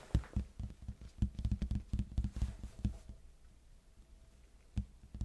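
A large, hollow red cardboard box is held sideways near the mic and tapped with the fingertips on its face near the edge. The result is a quick, irregular run of soft, dull, low thumps that die away almost instantly, then a quiet pause before a few final taps.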